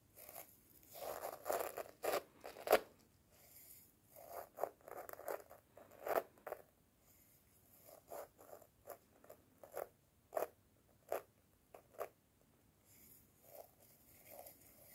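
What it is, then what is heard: Clear plastic jar scraped. Wooden chopsticks scrape along the ribbed neck of a clear plastic jar that is half full of dark dried material. The result is a series of short, quiet, zipper-like ratcheting bursts. Each burst has a raspy midrange body around 550 Hz and a thin, bright edge, with brief pauses between strokes.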